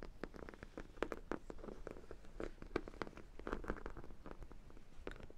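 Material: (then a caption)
Vinyl. Long black nails tap and scratch on the yellow side and glazed top of a large, hollow sprinkle-donut dog toy, likely vinyl. Quick, dull, hollow taps mix with soft scratching in the low-mids. Each tap dies away almost at once.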